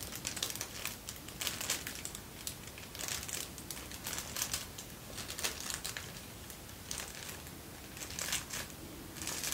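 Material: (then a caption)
Paper. A folded sheet of thin white tissue paper is held close and rubbed and crinkled with fingertips and short nails. Dense, bright, papery crackling comes in repeated bursts over a soft hiss.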